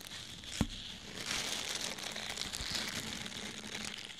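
A small, soft orange porous foam sponge, held in the hand, is squeezed and scratched with fingernails. The result is a steady bright crinkling and scratching texture with one sharp tap near the start.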